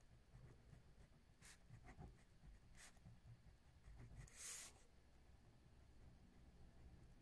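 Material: Paper.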